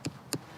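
Two taps on undisturbed natural subsoil at the Waun Mawn site give short, dull, solid knocks with little ring. This contrasts with the hollower sound of the backfilled stone holes.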